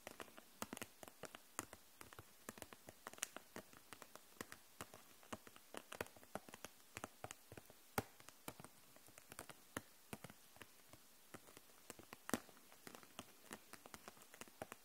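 Long nails tap on the caps of dual-tip markers and on the clear plastic case holding them upright. Dozens of quick, light, dry clicks patter at a slow, gentle pace, each dying out almost instantly with a bright, crisp edge over a quiet background.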